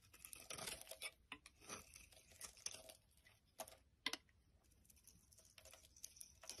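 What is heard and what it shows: A utility knife blade shaves curls along the edge of a solid pink bar of soap held in the hand. Quiet, crisp scraping and crinkly shaving strokes come in irregular bursts, bright and high with almost no low end, with a few sharper snaps standing out.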